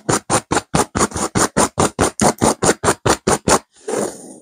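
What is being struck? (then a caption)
Stuffed cushion with velvet cover. Long nails of both hands scratch fast over a stuffed pillow with a blue burnout velvet cover and a cream petal pattern. Seventeen quick, evenly spaced, bright raspy strokes come at about two per second. They end with one longer, softer rub.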